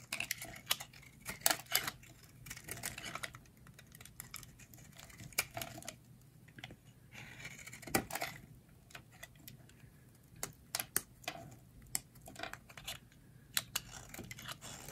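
A metal blade scrapes and carves shavings off a solid, shaped bar of dry green soap held in the hands. Crisp, bright scraping strokes and sharp little clicks come in quick, irregular bursts with short pauses between them, each sound dying away almost instantly over a low, quiet background.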